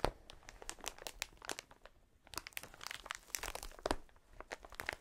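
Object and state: Plastic air cushion packaging sheet.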